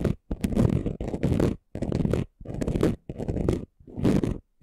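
Short nails scratch quickly across the rough surface of a flat, chunky gold glitter craft sheet. The result is a series of dense, gritty, crackling strokes, heavy in the low range, separated by brief silent pauses and stopping dead with no ring.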